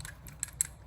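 A metal lightsaber hilt is shaken, and a part that hasn't been tightened down rattles loose inside it. Several short, bright metallic clicks come through over a low background rumble, with two sharper ticks standing out. The rattle marks the hilt as not properly assembled.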